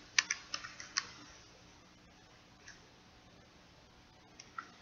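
Fingertips and nails tap the rubbery keys and plastic case of a small purple plastic pocket calculator held in one hand. A quick run of six sharp, bright clicks comes first, followed by a faint tap and then two more clicks near the end. Each click is dry and short with almost no ring.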